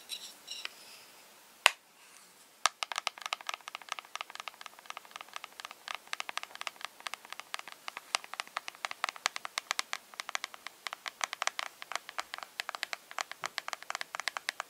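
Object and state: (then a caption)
Plastic eyeshadow palette in blister pack. A small flat eyeshadow palette with pink and grey shades, sealed in a light, hollow clear plastic blister pack, is scratched and tapped with long red-painted fingernails. A few scattered taps and a sharp click give way to dense, rapid, crisp plastic tapping and clicking that runs for over ten seconds, bright and dry with almost no low end or ring.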